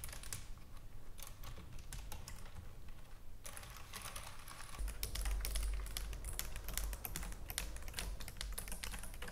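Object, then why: Plastic computer keyboard. Long nails and fingertips type and tap rapidly on the keys of a white plastic computer keyboard. Sparse, crisp clicks in the first few seconds give way to a denser, brighter run of quick clacks over a steady low rumble.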